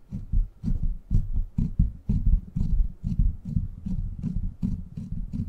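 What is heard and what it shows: Fingertips scratch the top of a silver microphone's steel mesh grille, then hands cup and rub its sides, producing a series of deep, muffled rumbling scrapes and thumps. The strokes come in an uneven rhythm of about two per second, almost entirely low-pitched with faint brief bright flecks.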